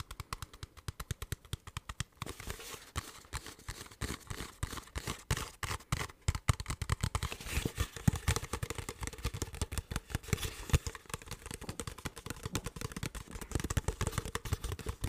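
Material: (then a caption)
Plastic. Fingertips tap and squeeze a clear, hollow, mostly empty plastic water bottle with a blue cap. Rapid, dry, hollow taps with low thumps start sparse, then become dense and continuous after about two seconds. Crinkly, bright plastic crackles mix in, and each hit dies away almost instantly.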